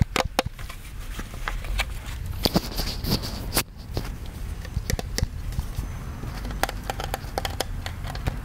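A hollow plastic Disney ghost-shaped souvenir popcorn bucket, about head-sized, is held in both hands and tapped with the fingertips. It gives a steady run of quick, dry taps with a low hollow thump and bright clicky edges that die away almost instantly. A brief scratchier, hissy stretch comes in around the middle.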